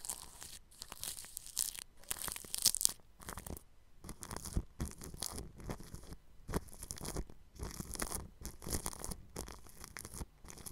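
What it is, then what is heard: Cling film over a microphone, brushed. A bristle paintbrush brushes over clear plastic cling film stretched across a round microphone grille. Quick strokes follow one another with short gaps, each a bright, crinkly scratching hiss with a soft low rumble underneath.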